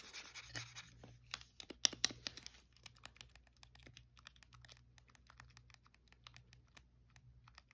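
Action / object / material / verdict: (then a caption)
tap / hand-held plastic game controller / plastic / none. A blue, hollow, hand-sized plastic Wii game controller is held over carpet while fingertips and nails tap and scratch its casing, then press its buttons. A quiet, bright, dry scratching wash with a few sharp taps fills the first few seconds, followed by a scattered run of crisp, short plastic clicks over a faint low hum.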